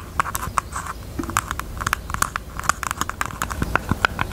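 A pink jewelry box is tapped with the fingers, giving a rapid, uneven run of short, dry clicks and taps. The taps are bright, with a ringing tone around 1.4 kHz and almost no decay, over a faint low rumble.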